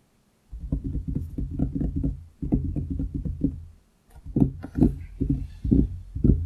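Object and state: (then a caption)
Wooden desk. Both hands tap their fingertips quickly on a large, solid wooden desktop around a microphone, producing rapid, dull, low-pitched knocks with almost no ring. The tapping comes in two runs, then stops briefly before resuming with slightly louder, more spaced hits.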